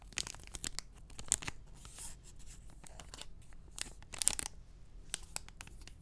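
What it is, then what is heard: Enamel pin on cardboard backing card. Fingertips and short nails tap and scratch a small, flat, printed cardboard backing card holding an enamel pin, held upright in front of the mic. Quiet, dry, papery scratches and crisp taps come in short bursts, with a few sharper bright clicks standing out. Each sound stops almost instantly, with no ring.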